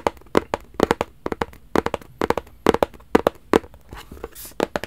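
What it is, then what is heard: Cardboard gift box. A hollow black rigid cardboard gift box is tapped repeatedly with fingertips, producing quick, dull, hollow knocks with a mid-toned body around 440 Hz. The taps come in irregular clusters, each dying away almost instantly, with a soft brushing rustle near the end.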